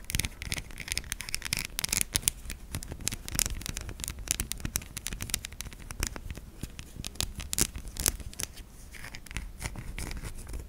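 A solid white bar of soap held in the fingers is scratched and scraped across its surface with long nails. The result is a dense run of dry, rasping scrapes and quick clicky ticks with bright, crisp edges and almost no ring, over a faint low rumble.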